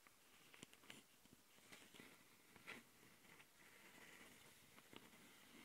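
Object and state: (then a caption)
Plastic handheld audio recorder. Long nails of both hands scratch and tap the capsules and top panel of a handheld plastic Tascam audio recorder. Quiet, bright, dry scratching runs throughout, centered around 2 kHz, broken by sharp clicking taps that die away almost at once.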